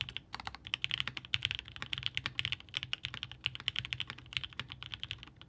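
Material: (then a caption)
Aluminum, plastic. Both hands type steadily with the fingertips on a 65% Haus mechanical keyboard by Hand Engineering, built with the Gummy Worm option, a blue-grey aluminum case, a polycarbonate plate, 8008 Inks linear switches and GMK DMG ABS keycaps, resting on a desk mat. Each key is pressed and bottomed out, producing a quick, even stream of short, bright, clacky taps centered around 3 kHz. The taps have very little low end and die away almost instantly.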